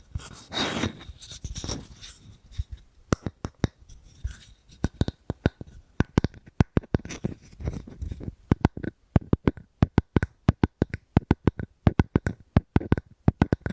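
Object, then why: Wooden object. Fingers tap and scratch on a wooden object close to the microphone, giving a broad, low, hushed scraping at the start. This gives way to rapid, dry, woody taps that die away almost at once. The taps come in irregular clusters that grow denser toward the end.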